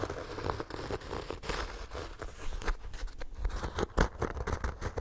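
Fingernails scratch the textured cover of a small, ornate, solid embossed hardcover notebook held close to the microphone. The result is a steady, rough rasping with a heavy low rumble and a faint crinkly edge, rising into uneven louder bursts as the strokes go on.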